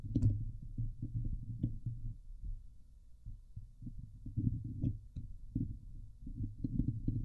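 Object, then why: Metal mesh microphone grille. Long nails of both hands scratch across the hollow woven metal mesh dome grille of a Blue Yeti microphone. The result is a dense run of low, thumping, rumbling scrapes with a few faint bright ticks.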